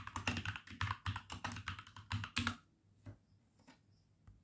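Both hands with red-painted short nails type with the fingertips on a compact RGB-backlit plastic mechanical keyboard with dark grey plastic keycaps and a few red and orange accent keys, resting on a wooden desk. A quick, uneven run of clacky keystrokes pairs a deep low thock with bright clicks for about two and a half seconds. A few sparse, softer key presses follow and trail off.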